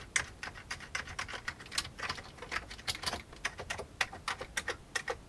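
An old full-size beige plastic computer keyboard with a hollow plastic case is typed on with fingertips, first with both hands and then with one. Quick, bright plastic clicks sound in an uneven run, each dying away almost at once over faint low background hiss.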